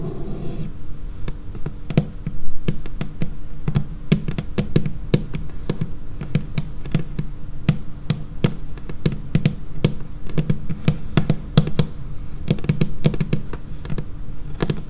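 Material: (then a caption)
Laminated wood. Long painted fingernails tap quickly on a dark laminated wooden tabletop, close up. Sharp, bright clicks come in an uneven, rapid stream over a steady low hum, each one dying away almost at once.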